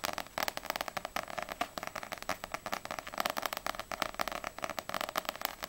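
Long nails tap quickly on the glossy paper front cover of a small, solid paperback manga, Ousama Game volume 4, held upright. The result is a fast, uneven run of sharp, dry clicks that are bright and thin, centered around 1.3 kHz with almost no low end. Each tap dies away almost instantly.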